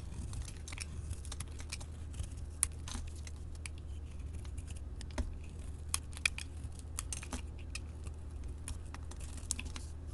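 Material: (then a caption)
Soap. A solid yellow soap bar with a printed wrapper layer is held in the hand and shaved with a metal blade into translucent curls. Soft, crisp scraping and cutting clicks with bright edges come through steadily over a constant low hum, with a few sharper snaps standing out.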